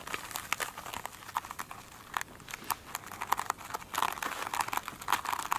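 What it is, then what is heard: Glitter-coated foam sponge. Long pointed nails tap and scratch the top edge of a single soft, solid foam sponge with a glitter-beaded top, resting on a glossy table. A quick run of dry, crackly taps and crinkly scratches centers around 1 kHz with a bright hiss above and almost no low end. Each tap stops almost instantly with no ring.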